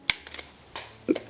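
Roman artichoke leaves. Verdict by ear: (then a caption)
Fresh. Roman artichokes are rubbed and squeezed, their leaves giving four short, bright squeaky crackles with a squeal near 2.2 kHz and almost no low end. The crisp squeak marks the artichokes as fresh.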